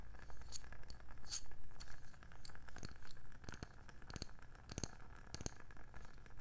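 Long nails tap quickly and irregularly on the label side and underside of a round, palm-sized wooden candle lid. Each tap is a short, dry click with a bright edge that dies away almost at once, over a steady low hum.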